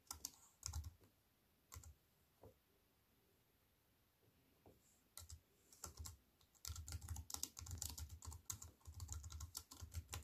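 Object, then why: Aluminium-framed keyboard with plastic keys. Fingertips with long white-painted nails type on a slim wireless keyboard with a silver aluminium frame and black plastic chiclet keys, resting on a wooden table. A few scattered key taps give way to fast, continuous typing, each press a short, crisp click with a bright edge over a soft low thump.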